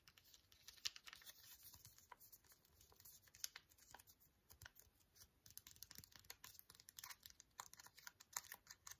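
A small, flat, sealed green ASDA antiseptic wipe foil sachet, still full, is held up and tapped with fingernails. Quick, irregular, crisp taps and crinkles sound bright and papery with almost no low end. Each tap stops dead against a quiet background.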